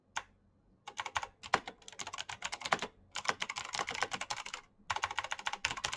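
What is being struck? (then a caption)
Plastic mechanical keyboard with clicky switches. Both hands type fast with the fingertips on a black Razer mechanical keyboard with plastic keycaps and clicky switches. Bright, sharp clicks come in quick bursts separated by brief pauses. Each keystroke dies away almost instantly with no ringing.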